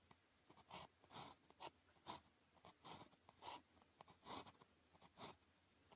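The tip of a blue plastic ballpoint pen, held in the fingers, writes across a thin grid-printed paper calligraphy practice sheet lying flat on a desk. Quiet, bright scratching strokes come in short, uneven bursts with a faint mid tone near 1 kHz, separated by soft near-silence.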